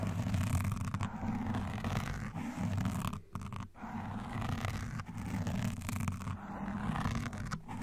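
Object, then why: Foam microphone windscreen. Gloved hands wearing pointed black nail rings scratch and tap a black foam windscreen on a microphone, alternating from both sides. The result is a dense, low, rumbling scratch that runs almost continuously, with brief dips in loudness near the middle.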